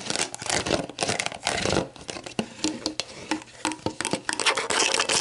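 Long black nails scratch the label of an empty, hollow clear plastic sports drink bottle lying on a table with its orange plastic cap on, then tap and scratch around the cap end. The result is a bright, crinkly scratching broken by quick, sharp, hollow taps that die away almost at once.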